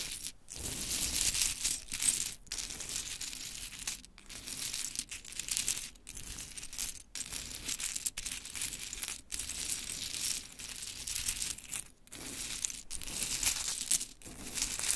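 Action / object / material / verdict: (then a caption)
drop / small wooden clothespins / wood / none. Long chrome nails pick up and drop pink wooden mini clothespins from a pile, then scratch across it. The result is a dense, continuous stream of bright, dry clicks and rustling clatter, broken by brief pauses.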